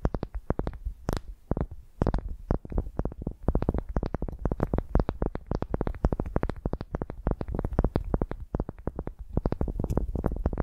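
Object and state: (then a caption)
Wooden ball tapped and scratched. Long nails scratch and tap a solid pale wooden ball resting on a microphone, producing a dense, rapid stream of dozens of short, dry knocks. Each tap lands with a deep, boomy low thump from the close microphone, followed by quick clicks and brief scratchy rustles, with no ringing between strikes.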